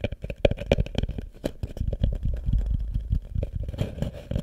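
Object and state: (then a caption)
Wooden bucket tapped and scratched. Fingernails tap and scratch the wooden sides of a small, hollow wooden bucket with a rope handle, set upside down over the microphone. A quick run of dry, hollow knocks with a woody tone near 566 Hz and boomy low resonance is mixed with softer scraping. Each tap dies away almost instantly.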